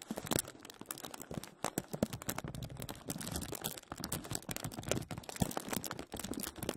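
A thin, clear plastic film bag is wrapped over a microphone, and both hands grasp it and rub it with their fingertips. The result is dense, continuous crinkling, with many short, sharp crackles spread across the range from low to bright. The crackles are close together and overlapping.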